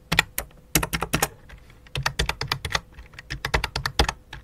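Both hands type rapidly with fingertips and long dark nails on a full-size white and light-blue plastic computer keyboard resting on black cloth. Bursts of sharp, bright, clicky key taps with a low thud are separated by brief pauses, and each tap cuts off almost instantly.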